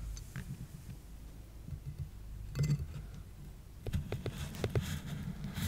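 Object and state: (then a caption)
Cardboard box. A hand with long dark-painted nails rests on the lid of a large, flat, hollow brown corrugated cardboard shipping box lying on carpet, its fingertips and nails tapping and scratching the cardboard. Soft, low, hollow taps patter throughout, broken by brief bright scratchy rasps midway and a denser run of sharp nail clicks and scrapes toward the end.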